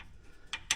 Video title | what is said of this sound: Trail Rider 570 clutch and brake mods #polaris #570 #trailrider | we still got the rattle. When it's done right, that rattle's gonna go away.